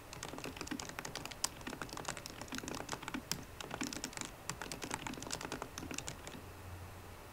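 Fingertips and painted nails of both hands type rapidly on the black plastic keys of a solid 13-inch silver aluminium MacBook Pro laptop. The result is a steady stream of short, dry, bright clicks and taps with no ringing.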